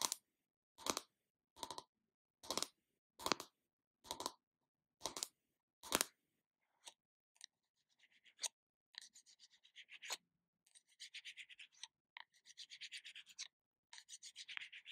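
Long nails tap, rub and scratch the label on the lid and side of a small round plastic body butter jar. Eight evenly spaced, bright, dry taps open the clip, then give way to faster, finer scratching and rubbing bursts that stay quiet and high in tone.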